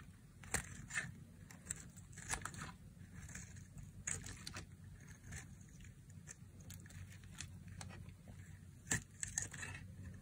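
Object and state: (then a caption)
Dry bar soap being carved. A metal utility blade carves and scrapes thin flakes off the edge of a solid, palm-sized, rectangular bar of dry beige soap held in one hand with long manicured nails. Dry, crisp scraping and crackly snaps sound at irregular intervals, with bright, sharp ticks above a soft, steady low rumble.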